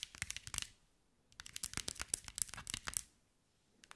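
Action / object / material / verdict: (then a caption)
tap / glass mosaic ball / glass / none. A hand-sized green mirror and glass mosaic ball is tapped and scratched with long white nails. Rapid, bright, crisp clicks and scratchy ticks come in two dense bursts separated by quiet pauses, followed by a few more taps at the end. Each tap is sharp and dies away instantly, with very little low end.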